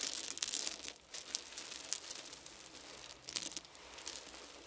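Small round wooden beads in a pile are handled with the fingertips, with handfuls picked up and dropped back onto the pile. Bright, crinkly clicking and rattling comes in bursts, loudest at the start and again near the end, with quieter shuffling in between and almost no low end.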